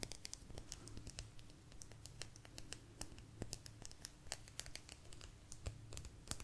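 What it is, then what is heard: Agate slice. A small, thin, solid blue agate slice is tapped and scratched with long nails close to the mic. Quick, sharp clicks and bright scratches come in a dense, irregular patter over a low hum, each click dying away almost at once.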